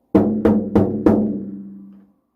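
A bicycle wheel rim made of bamboo composite fiber is tapped four times, giving drum-like hollow knocks. Each knock is centered around 300 Hz and rings out briefly before fading over about a second after the last tap.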